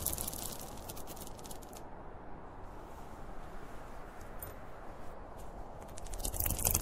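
Fingertips and nails scratch the top of a closed, hollow, zippered school pencil case made of polyester fabric with a printed cartoon panel. A steady, dense scratching rustle with a low, hollow rumble runs throughout, with bright, crisp scraping bursts at the start and swelling louder toward the end.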